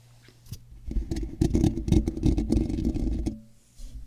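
Fingertips and short nails of both hands slowly scratch and rub the large, hollow, black woven metal mesh ball grille of a microphone, so the mic itself picks up the scratching. After a faint start and a single soft scrape, a dense run of loud, boomy, low-heavy rubbing and scratching builds from about one second to just past three seconds, then drops off, with a softer scrape returning at the very end.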